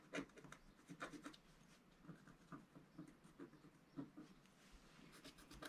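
A wooden stylus scrapes the coating off a flat black coated scratch-art paper sheet resting on a table, working in short strokes. Each stroke gives a quiet, dry, raspy scratch with a brief bright edge, separated by soft pauses.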